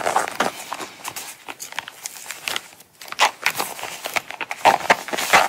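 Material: Coated canvas.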